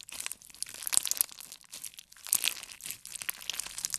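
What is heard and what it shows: A solid handful of clear slime packed with colored beads is pressed and squeezed between the fingertips and thumbs of both hands. It gives off dense, bright crackling and crunchy popping with almost no low end, louder bursts near 1 second and 2.3 seconds, and brief quiet dips in between.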